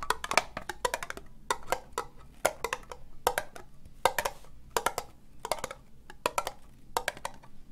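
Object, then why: Ribbed plastic cup. Long nails slowly tap an empty, hollow, orange ribbed plastic cup. The taps come in irregular bursts of short, dry, clicky hits with a hollow midrange tone near 650 Hz and bright edges. Each tap dies almost instantly with no ring, leaving only a faint low hum between bursts.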